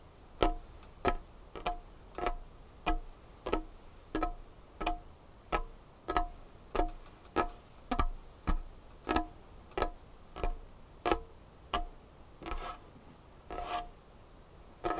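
Knuckles and fingernails of curled hands knock and tap on a large, solid dark-wood tabletop. A steady run of short, dry knocks, about one and a half per second, each has a hollow woody tone around 700 Hz and a brief bright click. Each knock dies away almost at once.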